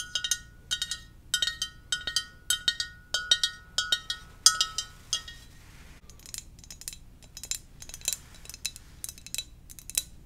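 A glossy black glazed ceramic mug shaped like a Darth Vader helmet, hollow and empty, is held in both hands and tapped with long nails in quick, uneven bursts. The first half brings bright, clinking taps with a short ringing tone. After that the taps turn drier, softer and more clicky, with no ring.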